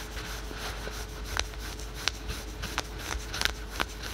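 Fingertips and nails scratch fast across patterned spandex/polyester yoga pants, synthetic stretch leggings worn on the thigh. A steady, soft scratchy rustle runs throughout, broken by scattered sharp, bright clicks that stop instantly.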